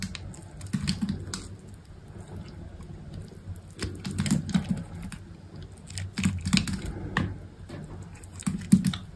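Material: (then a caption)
Soap. A utility knife blade slices thin cubes off a small solid chunk of white soap held between the fingers, cutting and scraping through it. Soft, dull cuts and crisp little clicks come at an irregular pace, mostly low and muffled with brief bright ticks that stop dead without ringing.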